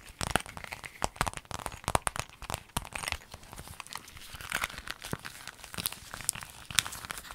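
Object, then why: Clear vinyl zip bag. A clear lemon-print vinyl zip pencil bag is crinkled, folded and squeezed in hands with long nails. Dense, bright crinkling and crackling snaps come in quick irregular bursts, each dying away almost at once. Softer rustling fills the gaps between them.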